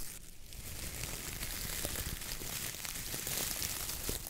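A coir dish brush head with a wooden handle is pressed, squeezed and rubbed by a palm and fingers working the stiff coconut-fiber bristles. A steady, dense crackling and scratchy rustle carries bright high hiss and a low rumble, with small crisp snaps scattered throughout.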